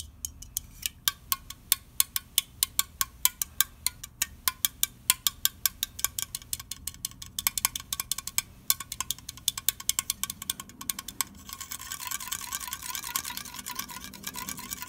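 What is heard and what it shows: Fingernails rapidly tap and flick the lid and pull tab of an unopened red aluminium soda can held in the hand. The result is a quick series of sharp, bright metallic clicks with a faint ringing tone. Near the end the taps blur into a denser, scratchy rattle.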